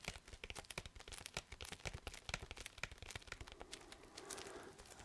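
A large, flat cardboard LP record sleeve in plastic shrink wrap is held in the hands and handled with the fingertips. The result is quiet, rapid, bright crinkling of the plastic wrap: a dense run of sharp little crackles that ends in a softer, hissing rustle.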